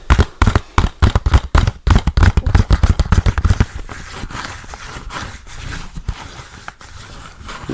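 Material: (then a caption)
Plastic. Fingertips and nails tap rapidly on the front cover of a hollow, handheld plastic DVD case with a Garfield cover. For about the first three and a half seconds, dense, quick, deep hollow knocks ring out. The tapping then fades into a softer, quieter patter and light scratching for the rest of the clip.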